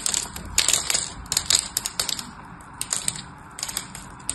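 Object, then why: Bar of soap scraped with a metal blade. A small metal knife blade scores and scrapes the surface of a solid orange-and-white striped bar of dry soap held in the hand, chipping off crumbly cubes. The result is a dense run of crisp, dry crunching and scratching clicks, very bright and high with almost no low end. Each click is short and clipped, with no ring.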